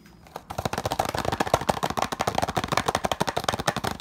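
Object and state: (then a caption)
Cardboard box. A small, hollow, green printed cardboard retail box with a barcode is held in one hand while the fingertips of the other hand quickly tap and scratch its surface. After a brief quiet moment, a rapid run of about sixteen short, dry, hollow taps follows, with scratchy rustle between them. Each tap stops almost instantly.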